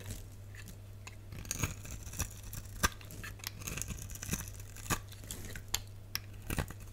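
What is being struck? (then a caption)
Translucent soap bar cut with a blade. A box-cutter blade scores a solid, palm-sized green translucent soap bar held in the hand, then scrapes off small cubes. Crisp, dry scraping and crunchy snaps with bright, sharp clicks come over a steady low hum.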